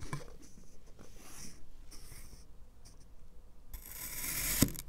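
A black knife makes diagonal criss-cross cuts into the surface of a solid green kinetic sand fish. Quiet, soft scraping and crumbly hissing sweeps come in bright bursts, then swell into a louder crisp scrape ending in a sharp tick near the end.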